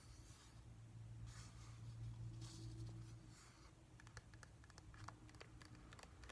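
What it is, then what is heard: Plastic whale night light. A hand-sized, hollow, glossy plastic whale-shaped night light with a pale blue-grey top and white base is held in the hands and tapped with fingertips and nails. Soft brushing, scratchy rustles come first over a low steady hum, then quick, light, clicky taps follow in an uneven patter. The taps are quiet and dry, with almost no ring.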